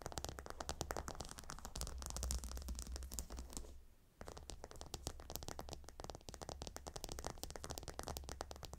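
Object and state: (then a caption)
Gemstone pillow tiles scratched with nails. A fingernail scratches across the hexagonal stone tiles of a gemstone hot stone pillow, making a dense run of quick, bright, clicky scrapes over a steady low rumble. The scratching stops briefly at about four seconds, then resumes just as busy to the end.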